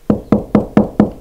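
Six knocks on a hollow section of a plasterboard stud wall between the studs, knocked along the wall to find the studs for mounting a floating shelf. Each knock gives a short, hollow, dull thud centred around 210 Hz that dies away quickly, with no stud behind the board.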